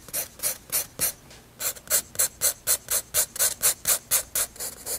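A graphite pencil shades across a flat white paper page of a spiral sketchbook with repeated rubbing strokes. Each stroke is a short, bright, airy scratch with almost no low end, coming about four times a second, with a brief pause after the first four strokes before the steady rhythm resumes.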